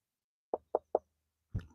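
Three short, dull knocks land on a hollow-sounding stone spot at the edge of an abbey ruin, each a quick mid-pitched thud that dies away almost at once. A fourth, heavier impact follows, with a deeper thump and a brief rattling tail.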